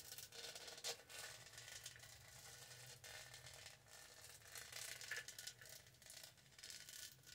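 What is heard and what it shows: Long nails rub across the studded texture of a tall, purple, hollow plastic studded tumbler, making a fast, dense stream of bright scratchy clicks and rattles. The sound is quiet and mostly high in tone, with steady continuous rubbing and a few slightly louder scrapes.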